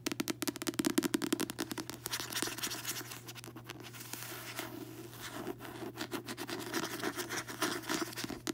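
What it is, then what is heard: Paperback book cover. Long nails scratch and tap across the glossy card front cover of a closed paperback book, then the back cover after the book is turned over. Quick, dry, bright clicking taps alternate with a smoother rasping scratch through the middle. A steady low hum runs underneath throughout.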